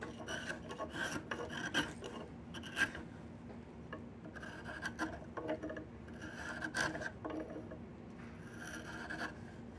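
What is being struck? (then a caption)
Peeled diamond willow stick. A wide steel chisel scrapes the surface of a solid, bark-peeled diamond willow stick in repeated strokes. Each stroke makes a raspy, filing-like scrape with a bright edge. The strokes come in bursts that build and fade over a faint steady hum.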